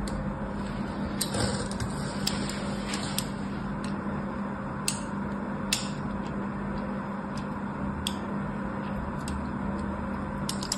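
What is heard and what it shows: A thin metal blade, held by fingers with long painted nails, scratches lines across the face of a solid, hand-sized white embossed bar of soap held in the hand. Soft, continuous scraping is heard over a low steady hum, with occasional sharp, bright ticks as the blade catches the surface.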